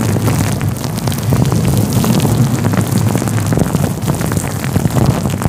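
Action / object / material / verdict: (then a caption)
scrape / faux fur microphone windscreen / synthetic fur / none. Fingertips rub a fluffy grey-white faux fur windscreen covering a microphone. They produce a steady, close, muffled rumble with dense scratchy rustling, heavy in the low end, with faint brighter crackles on top. The sound stays loud and continuous throughout, with small swells as the rubbing shifts.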